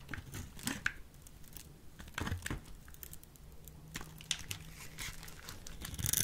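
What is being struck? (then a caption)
Bar of soap. A solid, hand-sized peach soap bar is held in the hand while a utility knife blade cuts and scrapes its scored end, breaking off small cubes. Dry, crisp scraping and crackling bursts come in irregular clusters, with a faint low hum underneath. The sound is close and bright, and each crunch dies away quickly.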